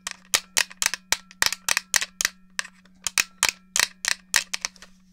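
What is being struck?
Plastic game controller.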